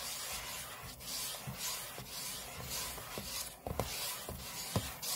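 Short fingernails scratch the aluminium lid of a closed space-grey MacBook lying flat on a table, heard close up. A steady, bright, rasping scratch sweeps back and forth in irregular strokes, with a few soft, low knocks where the nails catch the metal.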